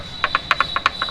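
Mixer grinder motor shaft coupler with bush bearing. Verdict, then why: Loose. A loose coupler on a mixer grinder's motor shaft is wiggled by hand, giving six short, bright clicks in about a second. It moves freely, showing the motor bush is worn and needs replacing, which is why the mixer runs so loudly.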